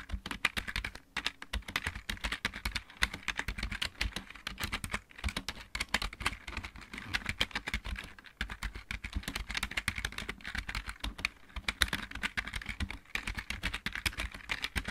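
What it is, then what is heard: Plastic mechanical keyboard. Both hands type with their fingertips on a full-size backlit plastic mechanical keyboard. A steady, dense stream of bright key clicks and clatter with a soft low thud underneath runs for the full fifteen seconds, with brief pauses between bursts.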